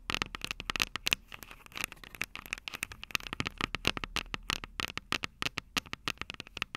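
Long purple nails tap and scratch the metal microphone capsules of an upright Tascam DR-05 recorder. Dozens of quick, dry clicks and scrapes follow one another with almost no ring. The sound is bright and crackly, with a tone around 2.7 kHz and little low end.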